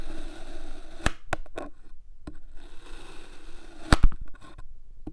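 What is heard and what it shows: A palm-sized solid pink kinetic sand cylinder resting on a white surface is sliced repeatedly with an iridescent metal knife blade. Each cut gives a short, crunchy scrape with sharp clicks over a soft, low grainy hiss, and the cuts are separated by brief quiet gaps.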